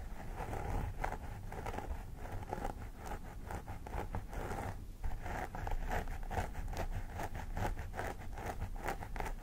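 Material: Synthetic hair.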